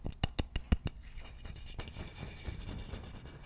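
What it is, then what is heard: Wooden vase tapped and scratched. Fingertips and nails tap and scratch the neck of a hollow wooden vase with its empty opening visible. Six quick, dull, low taps come first, followed by a steady, soft scratching rustle.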